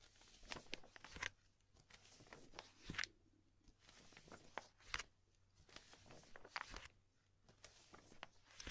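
A hand with long nails rubs, presses and flips a stack of empty, thin clear polypropylene binder sleeves, with an untouched magazine lying beside them. Bright, dry plastic crinkles come in repeated bursts with short quiet gaps between them. Sharp crackling snaps rise above a soft rustle.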